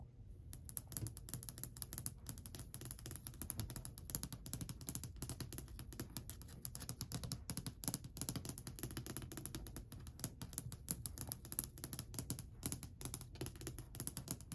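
Long white almond-shaped acrylic nails tap rapidly across the top of a long, flat, solid varnished wooden shelf or ledge. The result is a quick, dense stream of dry, clicky taps for about 15 seconds, each with a low woody knock and a bright nail click. Every tap dies almost instantly with no ring.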